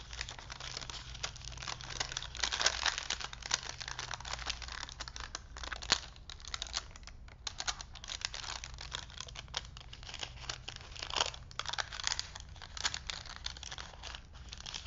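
Hands roll and crinkle a thin vintage paper movie film strip with cartoon prints, then wind it back onto its wooden spool. The result is dense, bright, papery crackling with sharp crinkles and short bursts that overlap continuously over a faint low hum.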